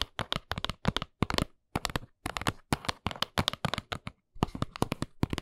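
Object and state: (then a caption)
Cardboard box tapped with fingernails. Long nails tap rapidly on the sides of a small, hollow brown cardboard box lying on its side. The taps come in quick, dry bursts with brief pauses between them. Each tap is a short, papery click with a hollow low thump and bright edges.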